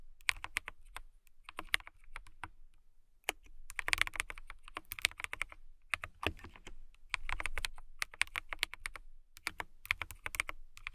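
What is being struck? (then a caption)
Plastic mechanical keyboard. Long-nailed fingertips type on a clear plastic mechanical keyboard with transparent keycaps, producing bursts of sharp, bright clicking taps separated by short pauses. Each keystroke is crisp and dies away almost instantly, with a pronounced click near 2.3 kHz over a light low thud.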